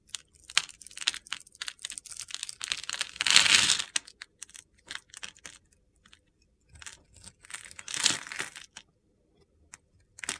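A utility-knife blade carves a hand-sized solid mint-green soap bar into small cubes, making crisp, bright crunching and scraping clicks in an irregular run. Two longer, louder gritty crunches stand out near the middle and toward the end, with short crackly cuts and quiet gaps between them.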